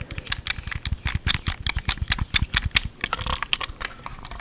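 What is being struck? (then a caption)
Hard plastic handheld game controller. Fingertips and short nails tap the shell and press the buttons of a small, hollow, white hard-plastic Wii Remote game controller held close to the mic. The result is a quick, uneven run of short, dry clicks and taps with a bright edge and a soft low thump beneath, each dying away almost instantly.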